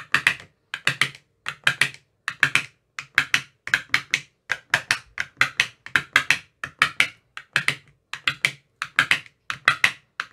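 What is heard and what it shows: A metal rod with a white tip taps into the teal silicone cells of an empty, clear plastic ice cube tray. The result is rapid clusters of short, dry, hollow-sounding clicks, bright with almost no low end. Each tap dies away almost instantly, in a steady rhythm across the whole clip.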